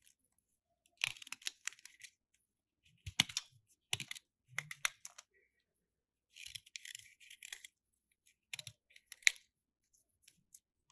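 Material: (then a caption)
Plaster. A metal utility knife blade scrapes a solid white plaster dig block, held in the hand and already partly carved, as plaster powder piles up on the table. The result is quiet, dry, bright scratching in short bursts and clusters with almost no low end, each scrape stopping dead without ring.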